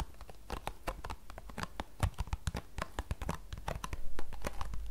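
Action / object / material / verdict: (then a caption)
tap / cardboard tea box / cardboard / none. Long painted nails and fingertips tap and scratch the flat face of a small, closed, green printed paperboard tea box, hollow and holding tea bags, held in both hands. A rapid, irregular string of short, dry taps with hollow low thumps runs under faint scratchy rustling, growing louder toward the end.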